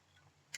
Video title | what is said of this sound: Tsuki no Ame 665 Ramune Gummies & Mini Sugar Donuts | I can tap it with a nail. Like this is quite firm. Honestly, this is definitely like a candy shell.